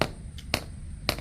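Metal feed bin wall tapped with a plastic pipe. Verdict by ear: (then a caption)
Solid. A PVC pipe with a hard end is tapped four times against the side of a metal feed bin at a section full of feed, giving short, solid-sounding knocks that die away almost at once. The solid sound shows that feed is inside at that height, which is used to estimate the feed level.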